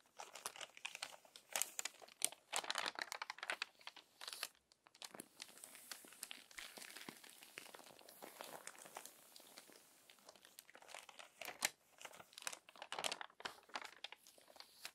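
Long-nailed fingers turn the crinkled pages of a crumpled glossy paper magazine, then smooth them flat. Dense, bright crinkling and crackling fill the clip in quick, crisp bursts with no low end, settling into softer rustling in the middle before louder crinkles return.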